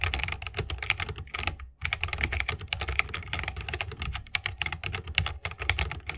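A 60% mechanical keyboard with a bamboo wood case, plastic keycaps and Holy Panda tactile switches is typed on rapidly with the fingertips of both hands. Dense, bright clicky keystrokes with a low thock underneath run throughout, broken by a brief pause near the two-second mark.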